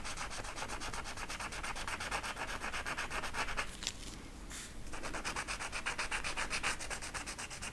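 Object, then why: Marker rubbed over a flocked velvet poster. A blue marker is rubbed in short back-and-forth strokes over the velvet pile of a flat flocked-velvet art poster, filling in feather shapes. It makes a steady, brisk scratchy rasp with bright, high hiss, broken by a quieter pause around the middle. The rubbing then resumes on the same sheet.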